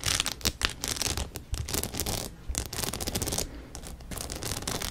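A rhinestone-studded denim cap, held upright beside the mic, has its surface scratched with long nails. The result is dry, bright, rasping scratches in quick irregular bursts, with sharp clicks over a low rumble.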